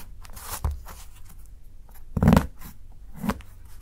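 A steel kitchen knife scrapes along the edge of a solid dark chocolate bar resting on a dark board and steadied by fingertips, cutting off fine shavings. Short, dry, crunchy scraping bursts with a low, muffled body stand out above a quiet background, with no ringing after each stroke.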